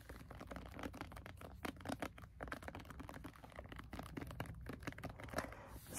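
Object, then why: Paperback book, paper. A paperback book, a solid block of paper, is held edge-on while finger pads tap rapidly along its edge and spine. The result is a quick run of soft, dull, papery taps that die away almost instantly, with little high-frequency content.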